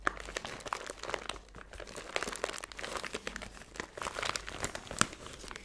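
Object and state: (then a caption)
Plastic zip bag of glitter crinkled. A small clear plastic zip-top bag full of silver glitter or foil bits is held in both hands and crinkled and squeezed with long blue-painted nails. It makes a steady, dense crinkling with many sharp, bright ticks and crackles that stop almost instantly, with little low end beneath them.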